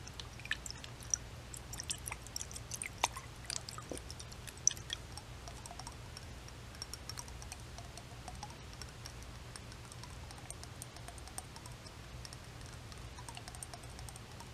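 Long white nails tap a round clear glass globe jar filled with liquid and topped with a pink decorative top while the jar is tilted. Many quiet, sharp, bright clicks and ticks scatter across the clip over a soft liquid wash and a steady low hum.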